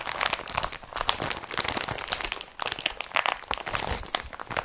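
An empty blue IKEA BRATTBY woven polypropylene carrier bag is crumpled and gripped with fingertips and nails. Dense, bright crinkling and crunching fills the clip with rapid rustling bursts, a brief lull near the middle, then more crinkles.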